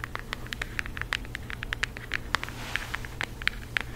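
A flat rectangular cardboard eyeshadow palette with a floral print and a hollow compact case, held in both hands, is tapped and scratched with long acrylic nails. The result is a quick, dense run of dry clicking taps with bright, hollow ticks around 2 kHz that fade at once. Light scratchy rustle and a steady low hum sit underneath.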